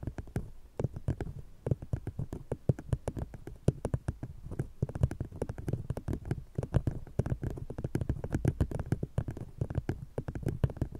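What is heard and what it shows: An empty brown paper cardboard cup fitted over a fluffy microphone is scratched and tapped by long painted nails of one hand, while a second cup on the other microphone stays untouched. It makes a rapid, uneven stream of dull, muffled taps and scratchy rubs that are heavy in bass, with almost no bright content. Each hit dies away at once.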